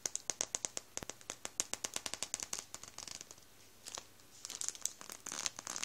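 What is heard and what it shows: An open hand rubs and scrunches a full Warburtons plastic bread roll bag with its fingertips. Rapid, sharp, bright crinkles and crackles come in a quick series, pause briefly near the middle, then return as denser, continuous rustling. The sound is thin and high with almost no low end.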